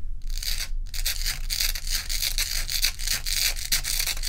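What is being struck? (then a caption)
Ice block. Long pointed nails on both hands scratch rapidly across the frosty top of a large, solid, dome-shaped ice block resting on a dark towel. The result is a dense, bright, hissing rasp that runs almost continuously, with brief pauses near the start, over a steady low hum.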